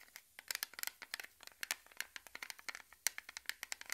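Fingertips and short nails scratch and tap the lid and rim of a small, round, blue Nivea-style metal cream tin that is closed and held in both hands. Around two dozen quick, dry, bright clicks and scrapes come through quietly, each dying away almost instantly with no ring.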